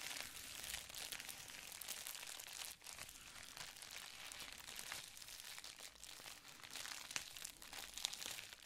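A folded sheet of clear plastic bubble wrap is crinkled and scratched with fingertips and nails. The result is a continuous, dense, bright crackle of plastic with little low end, dipping briefly before rising back into steady crinkling with a few sharper snaps near the end.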